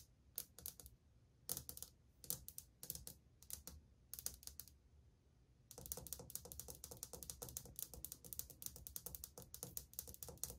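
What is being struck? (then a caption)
Glazed ceramic wall tile. Long painted nails drum rapidly on old glazed white ceramic subway tiles set in a solid wall, the hand partly out of frame mid-stretch. Short bursts of crisp, bright clicking come in scattered clusters for the first half, then become continuous, dense tapping from just before six seconds to the end. Each tap is sharp and dies almost instantly, with little low-end body.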